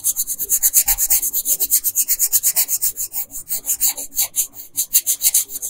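A red wooden colored pencil scratches across a flat printed paper coloring sheet lying on a dark desk, filling in the dress with dense strokes. About 35 quick, uneven back-and-forth strokes make a bright, high, dry rasping hiss with almost no low end. Each stroke stops sharply with no ring.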